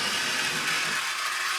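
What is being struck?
Nothing is struck.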